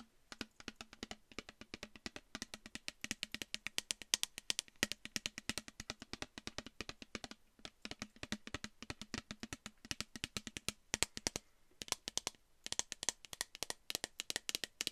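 A clear plastic bottle with a pink cap, partly filled with liquid, is held close to the microphone and tapped rapidly with long nails. The result is a quick, steady stream of sharp, bright clicks, each dying away almost instantly, with a faint low tone under them and brief pauses near the middle and toward the end.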